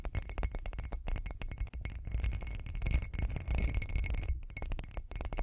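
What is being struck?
Textured glass cup tapped and scratched with long fingernails.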